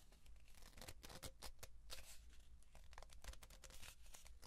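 Fingertips scratch and hands rub along a hollow kraft cardboard tube about 30 cm long, held vertical and then horizontal. Dense, dry scratching and rustling bursts flicker across a bright, papery band over a steady low hum. The sound stays at a quiet, even level throughout.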